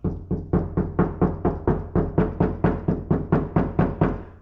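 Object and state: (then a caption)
Tinny, undamped car door panel. Eighteen quick, steady knocks on the outer sheet metal of an untreated, lightweight Mazda Miata door, behind the speaker, with no sound deadening. Each knock gives a hollow, tinny thunk with a low boom and a brief buzzing ring as the panel vibrates, showing the door is noisy and undeadened.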